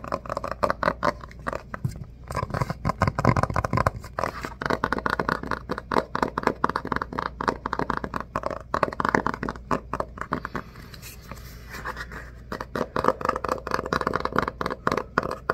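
A medium-sized, solid red hardcover book with a cloth or paper cover is held upright while fingertips tap and scratch across its cover. Rapid, dry taps blend with crackly scratching, centered in the midrange around 900 Hz, with little low end and almost no ring after each contact.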